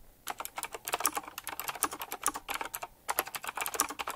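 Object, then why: Mechanical keyboard with round plastic keycaps and metal rims. Fingertips type quickly on a full-size typewriter-style mechanical keyboard with round black plastic keycaps, chrome-look rims and a metallic frame. Dense runs of sharp, bright clacks fire off in quick succession, each dying away almost at once, with brief pauses near the middle and just before the final burst.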